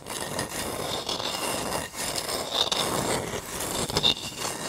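Fingertips and nails rub and scratch the fibrous shell of a whole, palm-sized, hard-shelled brown coconut with a barcode sticker, held in both hands close to the microphone. The result is a steady, dry, bright rasping scrape with little low end, a brief dip near the two-second mark, and a few sharper scratchy peaks toward the end.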